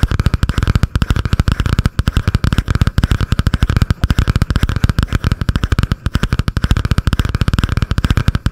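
Long painted nails tap and scratch fast on a butterfly-print spiral notebook with a cardboard cover, held above the microphone. About 55 quick, dry taps land in a steady rapid run, heard as dull, low thuds with very little brightness. Each tap cuts off almost instantly.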